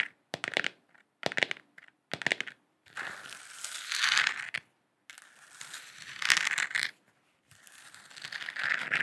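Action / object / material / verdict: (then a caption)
tap / hollow plastic lamp sphere / plastic / none. A hand-sized hollow plastic moon lamp sphere with a galaxy print, lit and held in both hands, is tapped and scratched with long acrylic nails. Three short clusters of quick, bright clicking taps come first, followed by longer swelling scratching passes separated by brief silences. The sound is thin, hissy and high, with no low end.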